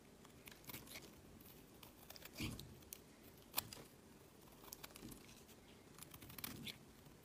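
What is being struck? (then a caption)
Bar of soap cut with a metal blade. A solid peach, rounded-square bar of soap held in the hand is carved and scraped with a metal utility blade, its flakes falling onto a woven mat. Quiet, crisp scraping strokes with bright, papery edges come in short bursts, with a few sharper snicks standing out among the steady shaving.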